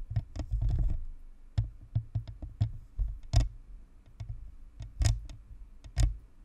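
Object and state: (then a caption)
Plastic microphone shell tapped and scratched with nails. Long nails tap and scratch the top of a white, hollow, spherical plastic-and-metal Blue Snowball USB microphone, then move to its sides. A quick cluster of fluttering taps opens the clip, followed by spaced, deep, hollow thumps, each with a short bright click that dies away almost at once.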